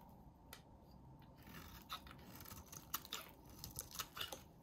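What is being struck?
Soap bar cut with a blade.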